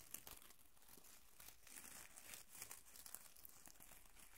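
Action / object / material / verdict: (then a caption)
scrape / plastic curling ribbon / plastic / none. A light, hollow tangle of thin pink plastic curling ribbon is crumpled and rubbed between fingertips and nails close to the microphone. The result is a quiet, steady crinkling with a bright, hissy top, a soft low rumble underneath, and small sharp crackles scattered throughout.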